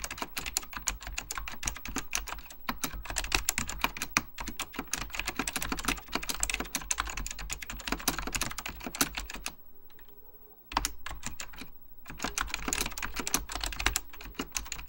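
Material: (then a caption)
Plastic. Fingertips type continuously on a beige plastic full-size Apple Extended Keyboard II, its hollow plastic keycaps pressing down over mechanical switches. Rapid, bright, clacky taps run together over a steady low hum, with a brief pause about two-thirds through before the typing resumes.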